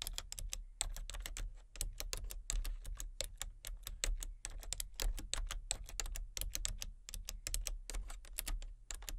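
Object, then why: Plastic computer keyboard. Fingertips with long nails tap steadily across a full-size plastic computer keyboard with a hollow body and color-changing backlit keys, one hand on the letter keys and one on the number pad. The result is a quick, continuous stream of sharp, bright plastic clicks that die away almost at once, over a steady low rumble.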